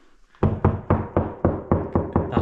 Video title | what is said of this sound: Episode 4 - Smash & Bang | That's hollow. You can hear that